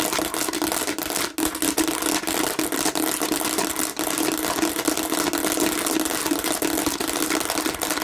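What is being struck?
Hollow plastic bottle with raised bumps.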